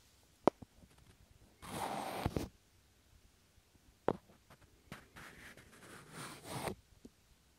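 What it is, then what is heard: Small wooden blocks. Two small, solid, pale wooden cubes are slid and pressed together by fingers close to the mic. Sharp woody clicks alternate with longer, soft, airy scraping rubs as the blocks glide against each other. The result is quiet and dry, with no lingering ring.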